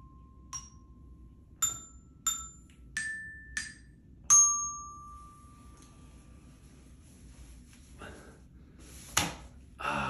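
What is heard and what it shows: A small children's glockenspiel, about 30 cm long with rainbow-colored metal bars on a wooden base, lies on a brown surface inside a toilet bowl and is struck with a thin wooden mallet. Seven separate notes ring out with bright, bell-like overtones; the sixth rings the longest, and a quiet stretch follows. A final sharp, noisy tap comes before a brief broadband hiss at the end.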